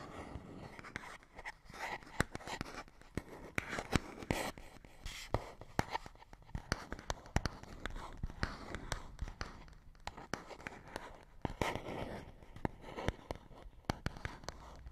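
Fingernails scratch and tap on a small, hollow printed paperboard box. Soft, dry scratching runs throughout, broken by many sharp, short taps with a slightly hollow low thump and almost no ring.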